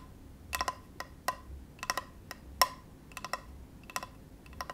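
Fingertips tap the surface and near the edge of a flat, solid, rectangular bamboo cutting board held on a lap. The result is a loose, irregular series of short, dry knocks with a woody tone around 1 kHz and a brief bright click at each strike.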